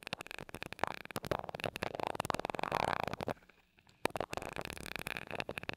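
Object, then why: Metal mesh microphone grille tapped and rubbed with a glass rod. A glass rod taps and rubs the small gold metal mesh grille of a mini microphone, making a dense stream of quick, bright ticks and scratchy friction with a midrange tone. The sound drops to near silence for about half a second before a sharp tap starts the rapid tapping and rubbing again.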